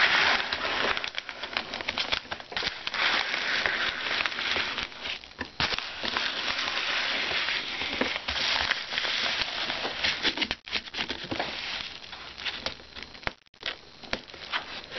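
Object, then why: Paper padded mailer holding a book. Fingertips tap on the surface of a flat white paper padded mailer holding a book as it lies on a desk, and pick at its edge. A dense, bright crackling and crinkling runs almost continuously with irregular soft taps, dropping out briefly near the 10.5 and 13.5 second marks.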